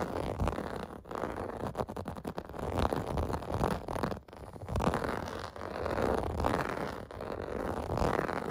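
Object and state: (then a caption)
Plastic bath mat being scratched. Fingertips and nails scratch the surface of a large, flat, clear-blue plastic/vinyl bath mat with bubble bumps, lying on carpet. The result is a steady, dry rasping and scraping that swells and fades in uneven strokes, with brief dips near one and four seconds. The sound sits mostly in the low and middle range with little bright content.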